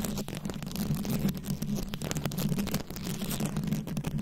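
Long pointed nails scratch and tap the plastic rhinestone beads covering a round microphone held in both hands. Dense, crackly scratching and quick clicking ride over a steady low hum.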